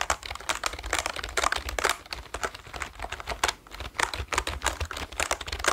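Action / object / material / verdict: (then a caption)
tap / plastic computer keyboard / plastic / none. Fingertips type and press on the keys of a full-size black plastic computer keyboard held up close to the mic, producing rapid, dense key clicks with varying loudness. The clicks are sharp and bright with almost no ring, over a faint steady low hum.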